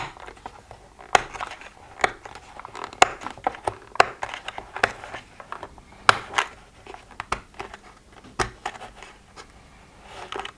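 Fingertips and nails of both hands tap and scratch the closed lids of a hollow plastic weekly pill organizer. Sharp, dry clicks land at an irregular pace over soft scratchy rustling. Each tap dies away almost instantly, with no low end and no ring.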